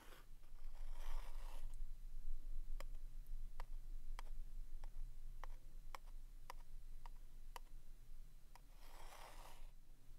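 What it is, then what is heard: Cardboard staple box. A small, hollow, printed vintage cardboard box of Neva-Clog staples is held in the hand while a pointed wooden stick traces and taps along its edge and face. Soft scratchy tracing strokes open and close the clip, with a series of sharp, dry taps in between. A steady low hum sits underneath throughout.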